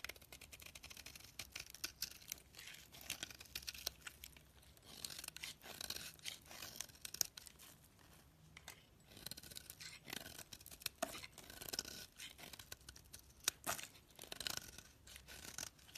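A hand-sized solid oval orange soap bar with teal edges, held in the hand, is carved and scraped with a metal utility-knife blade, peeling off thick curled shavings and flakes. The sound is a quiet, dense run of bright, crisp scraping and crackling strokes that swell and fade in bursts.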